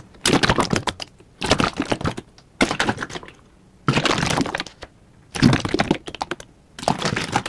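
A large yellow plastic Liquid-Plumr drain cleaner bottle with a red cap, hollow and containing gel, is held in hand and shaken vigorously. It produces six bursts of rapid, bright crackling clicks and slosh with short pauses of near silence between them.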